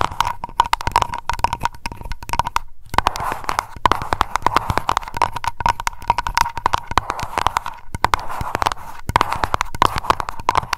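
Long nails tap fast on a small glass aroma candle jar labeled Lavender and filled with wax. Dense, rapid clicks ring briefly around a steady tone near 1 kHz, with a short pause just before the 3-second mark before the tapping resumes.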